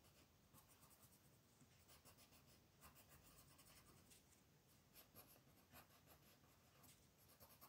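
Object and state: Pencil scratching on a paper coloring page.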